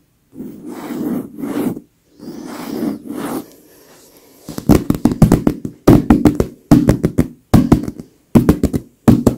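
Long pink nails scratch and rub across a large, soft, filled white leather pillow in slow swishing strokes, then tap the leather surface in quick clustered bursts. The taps are dull, low thuds with very little ring, separated by short pauses.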